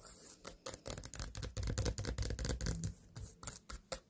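A small white pumpkin standing on a table is tapped and scratched on its sides with long nails. Quick, irregular taps and scraping strokes blend into a dry, muffled patter with a soft low body and crisp, bright clicks from the nail tips. Each sound dies away almost at once, with no ring.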